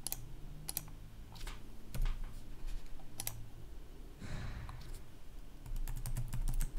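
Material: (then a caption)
Plastic. Two hands type quickly with their fingertips on a black plastic laptop keyboard with red backlit keys, producing short, bright clicking taps in scattered bursts. A steady low hum runs underneath, and a brief soft rustle rises midway before the typing picks up again.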